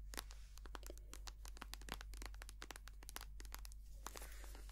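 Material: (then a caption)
Soft plastic. Long painted nails tap and scratch a small, white, soft plastic squeeze tube of hand cream, hollow and filled with cream. Rapid, crisp clicks and scratchy, crinkling taps with bright edges follow one another quickly, each dying away almost at once, over a steady low hum.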